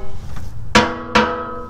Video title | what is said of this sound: This Bugatti Engine Has a Top Speed That you Won't Believe | that sounds pretty empty that's promising